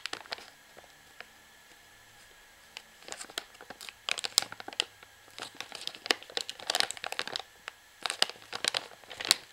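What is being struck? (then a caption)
Plastic washing powder pouch. Long fingernails scratch and tap along the crimped plastic seam at the top sealed edge of a full plastic pouch of washing powder. The sound is a run of sharp, bright crinkles and clicks in irregular bursts, with quiet pauses between them.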